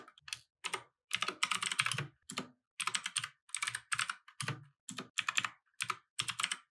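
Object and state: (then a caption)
Plastic mechanical keyboard. Both hands type with their fingertips on a compact mechanical keyboard with plastic keycaps resting on a wooden desk. Quick bursts of bright, clacky keystrokes come in uneven runs separated by short pauses, each click dying away almost instantly with a faint low thock underneath.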